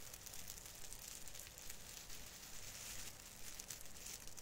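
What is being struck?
Plastic needles of an artificial fir branch.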